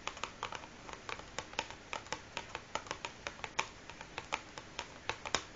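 Long nails tap and scratch rapidly on the top of a large, closed cardboard matchbox that is hollow, filled with matches and resting on a wooden table. A quick, irregular run of 27 dry, hollow clicks, each bright and crisp, dies away almost at once over a faint scratchy hiss.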